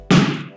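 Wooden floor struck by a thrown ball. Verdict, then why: Hollow. A tennis ball thrown against the wood floor of a pier-and-beam house lands with a single hollow, drum-like thud. The thud has a low boom around 195 Hz that rings briefly before fading. The floor sounds hollow because there is air, a crawlspace, underneath it.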